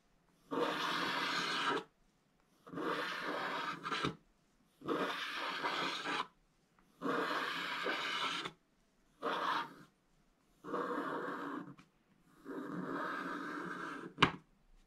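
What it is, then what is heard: Scratch-art paper being scratched. A wooden stylus scratches the black coating off a scratch-art book page, uncovering orange paper beneath as black shavings pile up. Seven separate rasping strokes of about one to one and a half seconds each are heard, dry and scratchy with bright, high hiss, followed by a sharp tap at the end.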